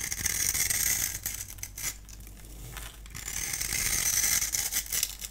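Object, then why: Bar of soap. A solid, dry, pale green bar of soap held in the hand is scored and shaved with a multi-blade cutter, turning it into crumbly curls. A bright, rasping scrape with a fine crackling, clicking texture runs throughout, easing off in the middle before growing loud again.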